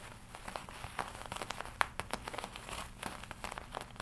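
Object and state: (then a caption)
Leather jacket. Fingertips and long nails tap and scratch the black leather chest of a worn, studded black and red leather biker jacket. A quiet, steady run of short, dry crinkling taps and scratchy rustles follows, each click dying away almost instantly. The brightest, sharpest tap stands out just before the two-second mark.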